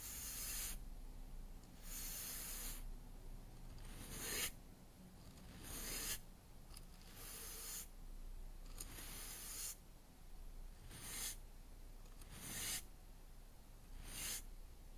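A 35 mm paintbrush with black bristles and a yellow handle is swept back and forth across a solid, rectangular wooden cutting board with a handle, lying flat on a table. The strokes are soft, airy, scratchy swishes with bright bristle hiss that repeat at an uneven pace. A steady low hum sits underneath.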